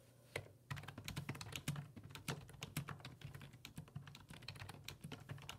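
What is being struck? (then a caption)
Plastic computer keyboard keys. Fingertips type steadily on the hollow plastic keys of a black plastic full-size computer keyboard resting on a wooden desk. The result is a rapid run of quick, short taps, each with a low hollow thud and a bright click that dies away almost at once.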